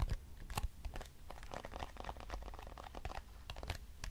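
A small, hollow, square lavender-grey cardboard box with printed text is tapped and scratched with long nails. Quick, dry, crackly taps and scrapes follow one another densely with little ring, and the sound sits mostly in a low, papery thump.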